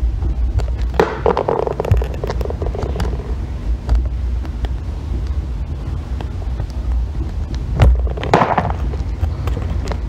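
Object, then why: Bar of soap scraped by a thin metal loop. A green bar of soap, tilted on its side, has its edge shaved into curls with a thin metal loop tool. Soft scraping bursts rise in the mids around the first and ninth seconds over a steady low rumble, with scattered light clicks throughout.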